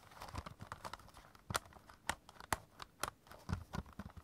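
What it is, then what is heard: Stack of plastic CD cases. Fingertips and short nails tap and scratch along the edges and spines of a small stack of about six clear hard plastic CD jewel cases held in both hands. Quiet, irregular taps and scraping rustles are punctuated by a few sharper, brighter plastic clicks, with soft low thumps underneath. Each sound stops dry with no ring.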